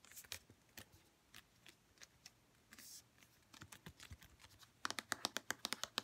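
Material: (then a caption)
Plastic. Long red-painted nails tap and scratch a white plastic St. Ives lotion bottle. Light, dry, bright clicks come in a scattered run, with a brief scratchy swipe partway through. Near the end they turn into a faster, louder burst of crisp taps.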